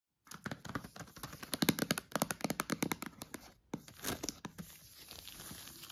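Long acrylic nails tap and scratch the green lid and shrink-wrap of a stacked IKEA PRUTA set of hollow, empty clear plastic food containers with a paper label. A fast run of sharp, crisp plastic clicks is followed, after a brief pause, by softer crinkly scratching on the wrap.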